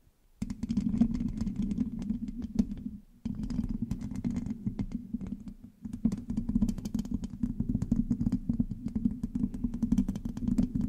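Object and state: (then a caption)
Metal mesh microphone grille being scratched. Long nails quickly scratch a black microphone's rounded, hollow metal mesh grille with both hands. The result is a dense, rough scratching with a strong hum around 230 Hz and thin crackly bits above it. Two brief pauses break the scratching.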